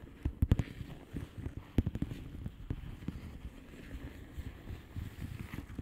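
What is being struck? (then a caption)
Plastic bubble wrap envelope. A flat blue plastic bubble wrap envelope with air-filled bubbles is tapped by the long painted nails of both hands. The taps come as soft, dull, low thuds in an irregular rhythm, with a few louder clusters early on and quieter, closely spaced taps after that.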